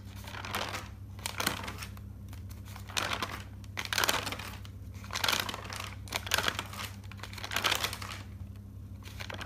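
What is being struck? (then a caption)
Thick paper notebook. A thick paper notebook lies open while fingers flip its pages from one side to the other. Bursts of bright, crinkly paper rustle rise and fall over a steady low hum.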